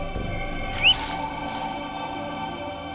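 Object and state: Nothing is struck.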